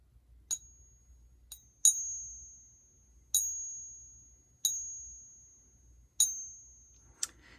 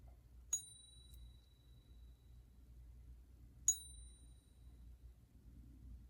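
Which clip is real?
The second.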